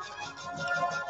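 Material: Nothing is struck.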